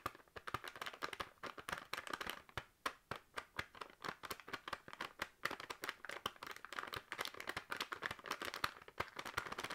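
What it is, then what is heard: Plastic noodle packet. A full, sealed plastic packet of dried noodles is held in the hand and tapped with long nails. The result is a quick, steady run of sharp, bright clicks and crisp plastic crinkles, each dying away almost at once, with little low end.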